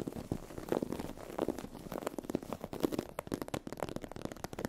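Long acrylic nails scratch and tap across a sheet of iridescent holographic vinyl/PU faux-leather fabric with a raised scale texture. The result is a dense, soft crackling rustle with quick, dry taps that stop almost instantly, centered in the low mids with little brightness.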